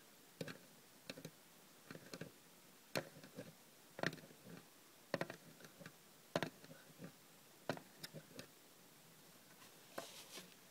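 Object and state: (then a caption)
Small aluminium tin tapped with fingernails. Long red nails tap the top and sides of a small, closed, hollow hinged aluminium cough drop tin. The result is a quiet, irregular run of sharp, bright clicks and light ticks that stop almost instantly, some landing singly and some in quick clusters.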